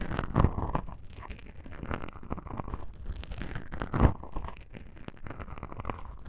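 Long pink-painted nails scratch two small black foam windscreen covers on a binaural microphone. The result is a dense, muffled, low rumbling scrape broken by soft crunchy rustles, with louder thumping bursts near the start and around the four-second mark.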